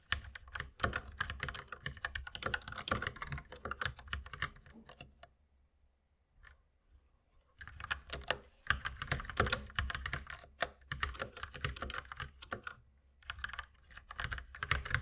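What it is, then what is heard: Plastic mechanical keyboard being typed on. Fingertips of both hands type continuously on a white mechanical keyboard with plastic keycaps resting on a wooden desk, producing rapid, bright plastic clacks over a low thump. The typing stops for about two seconds in the middle, then resumes, with another brief pause near the end.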